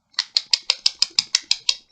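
A plastic pre-roll cylinder from a dispensary is shaken as a joke, like a spray-paint can. Eleven quick, bright rattling clicks come at a steady pace, each short and sharp with a high, hollow plastic tone, the last one softer.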